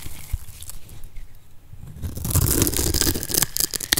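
A solid oval lime-green bar of dry soap held in the palm is diced into small cubes with a metal blade. Faint, sparse scraping gives way after about two seconds to louder, dense, crunchy crumbling and tearing crackles with bright, sharp edges.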